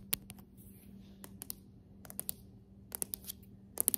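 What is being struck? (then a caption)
Hardwood floorboards tapped with long nails. Long acrylic nails of both hands tap on glossy, solid hardwood floorboards, making fourteen sharp, bright clicks in loose clusters. Each tap dies away almost instantly over a quiet background with a faint steady low hum.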